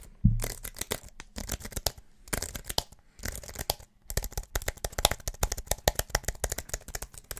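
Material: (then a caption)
Aluminum, plastic. A slim wireless keyboard with an aluminum body and white plastic keys is held near the mic and tapped and clicked aggressively with the fingertips. A loud low thump at the start gives way to bursts of fast, sharp, dry clicks with a low knock beneath them and bright crackly tops. The bursts are broken by brief pauses, and the tapping grows denser and more continuous toward the end.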